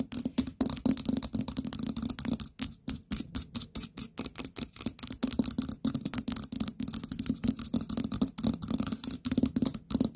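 Long nails tap quickly and repeatedly on the lid and gold stem of a small orange ceramic pumpkin-shaped jar. Dozens of short, dry clicks come in a steady flurry, each a bright, crisp tick over a faint low knock that stops almost at once with no ring.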